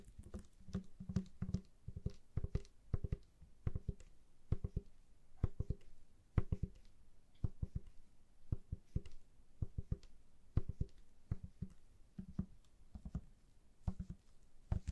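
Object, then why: Plastic trigger spray bottle. A hollow, empty-looking pink plastic trigger spray bottle is held close to the mic and tapped and scratched with long nails through black gloves. The result is a quiet, steady stream of quick, dry, hollow taps with a low body, each dying away almost at once, mixed with brief soft scratching between them.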